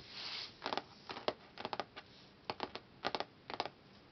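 Fingertips and nails tap quickly on the glossy printed board cover of a closed hardcover book, a solid laminated cardboard cover. After a soft, bright brushing hiss at the start, short dry ticks come in quick, uneven clusters of two to four, each stopping almost instantly.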